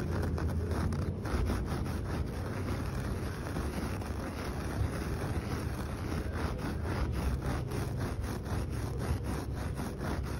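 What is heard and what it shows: Fingertips and short nails scratch and rub firmly over the bristles of a flat, solid coir fibre doormat with blue, green and brown dyed areas. The result is a continuous, dense, rustling scratch, heavy in low-end rumble, with faint brighter streaks as the strokes repeat.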